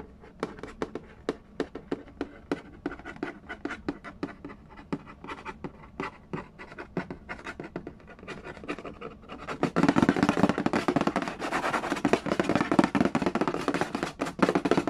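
Fingertips tap quickly and lightly on the lid of a hollow cardboard Yahtzee board game box, making short, dry, papery ticks with a faint hollow body. After about ten seconds the sound turns into louder, denser scratching and tracing across the lid surface, with a rough, bright texture.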